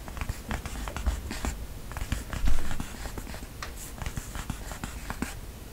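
Fingertips with short nails scratch and rub across a flat book cover wrapped in floral-printed, cotton-like fabric with white lace trim, tracing along the lace seam. The sound is a steady, soft stream of dry scratching with quick, crisp ticks over a low, muffled rumble, and it swells briefly louder partway through before settling back to a quiet rasp.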